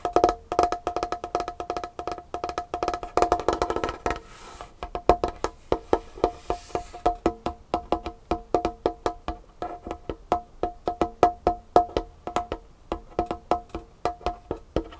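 Long nails of both hands tap rapidly on a large, solid, varnished wooden tabletop, producing a dense stream of short, dry, woody clicks with a ringing tone around 700 Hz. Each tap dies away almost instantly, and around the middle of the clip the tapping thins briefly under a faint high hiss before picking back up.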